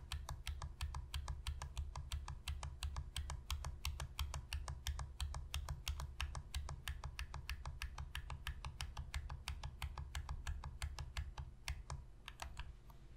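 Long pink fingernails tap rapidly on the triggers and back shell of a hollow black plastic Sony PS3 controller held on edge. The result is a dense, uneven stream of short, bright, clicky taps over a steady low hum that lasts the whole clip.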